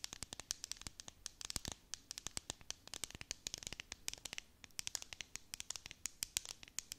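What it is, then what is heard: Plastic tumbler cup. A tall clear plastic tumbler with a domed lid and decorative beads, filled with sequins and star confetti, is held in both hands and scratched and tapped on its sides with long painted nails. Dozens of quick, crisp, bright clicks and scratchy ticks follow one another with almost no ring and very little low end.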